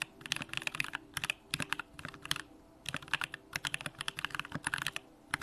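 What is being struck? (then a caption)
Mechanical keyboard with aluminium case and plastic keycaps. Fingertips type continuously with both hands on a compact Bakeneko65 mechanical keyboard with an aluminum case, Durock lavender switches and pink plastic keycaps. Rapid, bright clacks come in bursts separated by brief pauses, each keystroke short and quickly decaying over a faint low steady hum.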